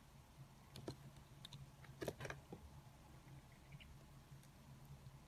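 A green plastic peeler with a white blade shaves lengthwise along a solid translucent pink soap bar resting on a granite counter. Quiet, short scraping strokes crackle over a steady low hum, with the loudest cluster in the middle, before fading back to faint, soft shavings.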